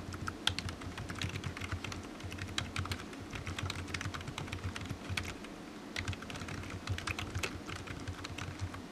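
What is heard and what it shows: Fingertips of one hand tap rapidly on the keys of a solid, black, low-profile plastic computer keyboard resting on a desk mat. The result is a quick, continuous run of light, bright clicks with short, dry decay over a steady low hum.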